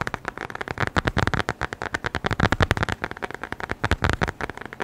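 A small, flat brown leather wallet is tapped quickly with the fingertips near the microphone, making about thirty short, dull taps in a fast, uneven rhythm. Each tap is a soft, low thud that dies away almost instantly, with a light crackly texture on top.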